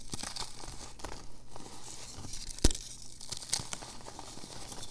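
Small solid chunks of reformed purple gym chalk (magnesium carbonate) with glitter are held in both palms over a bed of loose chalk powder, then crumbled and rubbed between the fingers into powder. The result is a steady, soft, crinkly crumbling with bright gritty texture and a low background hum, broken by one sharper crunch near the middle and a smaller one shortly after.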